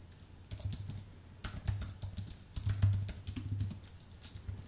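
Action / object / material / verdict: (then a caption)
tap / aluminium and plastic low-profile computer keyboard / aluminium, plastic / none. Fingertips of both hands type fast on the thin, low-profile plastic keys of a white full-size Apple keyboard with a numeric pad and a solid aluminium base. Rapid, soft clicking comes in quick bursts, each keystroke a short tap with a low thud underneath and a faint bright tick on top.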